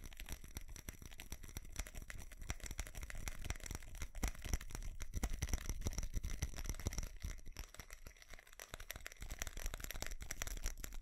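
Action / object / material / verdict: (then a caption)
tap / small ceramic Christmas tree with plastic bulbs / ceramic / none. Fingernails tap and scratch the surface of a small ceramic light-up Christmas tree with colored plastic bulbs. Dense, rapid clicks and scratchy rasps run throughout over a low rumble, with short, dry hits that do not ring.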